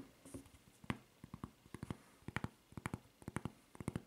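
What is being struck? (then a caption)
Rubber flip-flop footbed. Long nails tap and scratch the footbed of a white rubber flip-flop printed with a red Levi's logo and fitted with a red rubber strap. The taps are short, dull clicks with no ring, arriving in quick clusters over faint scratching.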